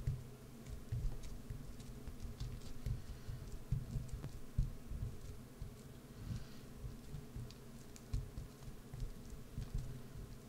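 A solid green bar of soap held in one hand is carved and scraped with a wood-handled carving gouge, with the shavings piling onto a dark mat. It makes quiet, muffled scraping with soft low thuds and faint crisp ticks, coming in irregular bursts throughout.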